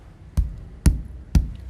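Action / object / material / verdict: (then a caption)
knock / ceramic floor tile / ceramic / solid. Three taps on a solid ceramic floor tile that isn't hollow, next to damaged tiles that sound hollow. Each tap is a short, dull, low thud that dies away almost at once, unlike the hollow-sounding damaged tiles nearby.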